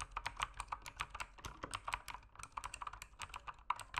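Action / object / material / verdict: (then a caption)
tap / mechanical keyboard with plastic keycaps / plastic / none. Fingertips type continuously on a backlit mechanical keyboard with plastic keycaps. The keystrokes make a quick, dense run of short, clicky taps centered around 1 kHz with bright high edges, each dying away almost instantly. The overall level stays quiet and steady.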